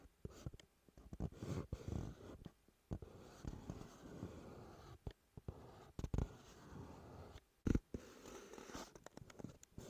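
Fingertips tap and rub the front face of a hollow, dark teal CK Free cardboard perfume box resting on a wooden table. Soft, dull, low thumps and scratchy rustling come in irregular bursts with brief quiet gaps, and each tap dies away almost instantly.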